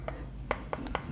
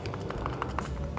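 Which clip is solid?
The first.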